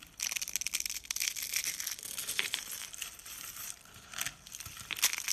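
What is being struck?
Soap flakes and curls.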